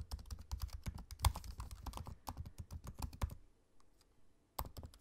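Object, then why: Aluminium laptop keyboard with plastic keys. Fingertips of both hands type on the low-profile black plastic keys of a space-grey aluminium laptop keyboard, producing a quick run of soft, dull clicks and thumpy taps with very short decay. The typing pauses for about a second near the end, leaving faint isolated taps, then resumes with a few more keystrokes.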